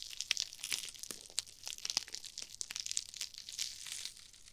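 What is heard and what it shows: Long-nailed fingers squeeze and scrunch small, foam-filled pink and red glittery nylon-mesh scrub sponges close to a binaural ear microphone. The result is a steady stream of dry, bright crinkling and crunching crackles, almost entirely high-pitched with no low end, made of many short, sharp snaps that overlap into a continuous rustle.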